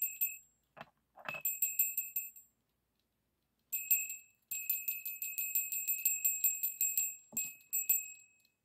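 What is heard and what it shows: A small hollow brass-colored bell hangs on a yellow pipe-cleaner loop, held close above a table by fingers that flick and tap it. It gives bursts of bright, quick tinkling rings with short decays, broken by a silent pause and a few soft finger bumps.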